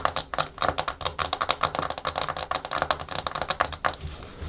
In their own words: Fast Aggressive Natural Nail Tapping & Scratching Hard Plastic Surface (No Talking)